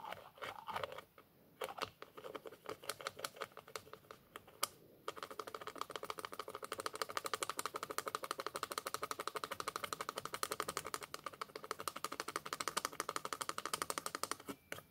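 Fingertips rapidly twist and click the white plastic screw cap of a small white plastic bottle. Scattered, irregular clicks and short rattles with brief pauses give way after about five seconds to a steady, fast stream of dry, bright plastic ticks. The stream continues to the end with almost no low end and no ring.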